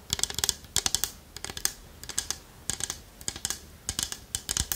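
Long nails tap on the lid and body of a small, round, polished wooden pot with a knobbed lid, which is hollow. The taps come in quick, clustered bursts of crisp, bright clicks that stop almost instantly, with quiet pauses between the bursts.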